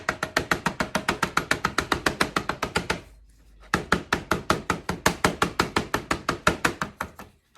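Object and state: Bath bomb released from plastic mold.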